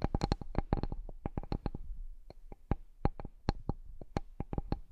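Fingertips and nails tap and scratch the surface of a large, flat, solid bamboo cutting board, heard close up. A quick, irregular run of short, dry knocks each carries a low thump and a bright nail click, then dies away almost at once. Faint scratching fills the gaps between taps.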